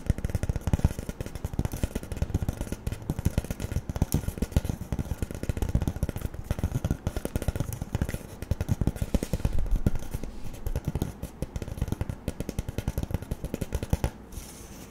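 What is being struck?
Cardboard tube.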